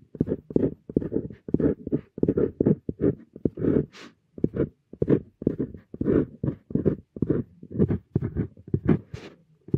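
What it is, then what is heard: Steel dip pen nib scratching paper. A stainless steel dip pen nib scratches across a flat paper sheet while writing characters, giving a steady run of short, dry scratching strokes with brief pauses between them. Most of the sound sits in a low-mid rasp, with a few brighter, hissier sweeps that reach high.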